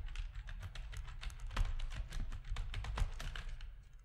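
Fingertips of both hands type steadily on a full-size black plastic RGB-backlit keyboard with a hollow plastic housing, resting on a desk. Quick, dense key clicks with short bright ticks sit over a low, hollow thump. The typing fades slightly at the end.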